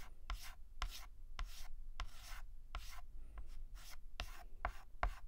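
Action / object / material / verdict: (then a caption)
scrape / chalk on a slate chalkboard / chalk / none. White chalk held in the hand is written across a black chalkboard in rubbing and scratching strokes. Each stroke begins with a sharp tap and trails into a bright, hissy scrape. The strokes repeat at a steady rhythm over a low background rumble.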